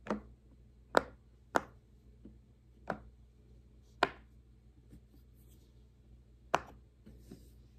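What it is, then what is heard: Silicone pop-it fidget toy being popped. Fingertips press the hollow bubbles of a large square rainbow silicone pop-it fidget toy resting on a wooden table, making them pop. Six sharp, dry pops sound at irregular intervals, each a short bright snap that dies away almost instantly, with a few fainter clicks between them.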